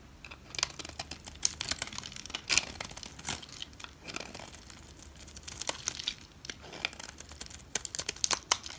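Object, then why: Bar of soap cut with a blade. A solid olive green bar of soap, held in fingers with long red nails, has slices cut off its corner and edge with a utility knife blade. The cuts give a steady run of dry, bright crackling and crisp scraping bursts, each stopping short with no ring, over a faint low background hum.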